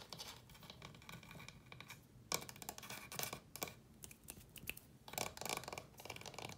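Fingernails scratch and rub the wooden top and frame of a small wooden chest of drawers with painted ceramic drawer fronts. Bursts of dry, bright scratching and scraping come and go close-up, with a few sharper louder rubs around the middle and near the end.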